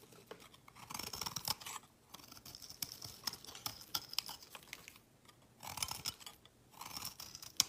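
A solid brown laundry soap bar, held in hand, is shaved with a metal utility knife blade into curls that fall onto a woven mat. Soft, crisp scraping strokes come in bursts separated by brief pauses. The sound is dry and bright with a high hiss and small ticking clicks, and has almost no low end.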